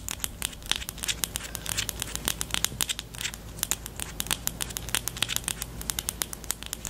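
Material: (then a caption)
Plastic. Long teal nails scratch and tap the barrel of a pastel pink plastic highlighter with a black cap. A rapid, uneven stream of sharp, bright clicks and crinkly scratches plays over a faint, steady low hum. Each tick stops almost instantly.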